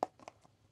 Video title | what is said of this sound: [SUB]베이스 메이크업 - 따라하기 쉬운 메이크업 브러시 사용법 🖌 | this doesn't make a sound because I used it up